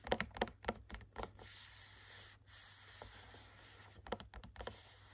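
Short nails tap and scratch the front of a small cardboard gift box holding three hand cream tubes behind a clear plastic window. A run of quick, dry taps gives way to a steady, bright scratching, then another burst of taps at the end.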